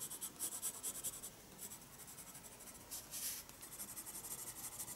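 A wooden graphite pencil sketches with repeated strokes on the paper page of a small spiral-bound sketchbook resting on a wooden desk. The quiet, bright scratching and rubbing comes in quick rhythmic bursts, with a longer, stronger stroke around the middle.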